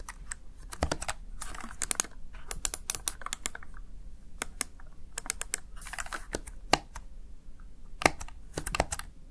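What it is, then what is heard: Plastic gaming keypad. Fingertips press the plastic keys of a Razer Tartarus Chroma gaming keypad. Short, sharp clicks come at an irregular pace, sometimes singly and sometimes in quick bursts. Each click has a bright top and dies almost instantly.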